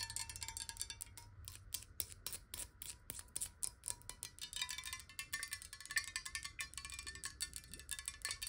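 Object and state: Glass water bottle.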